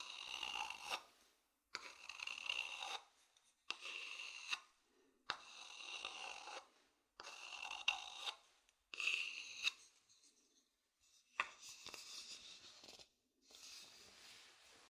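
An empty, hollow, polished wooden bowl is first scratched with a thin wooden stick, then held in both hands close to the microphone and rubbed with the fingertips. The sound comes in short bursts of dry, bright scratching and rasping, separated by near-silent pauses. It is mostly high-pitched, with little low end and almost no ring after each stroke.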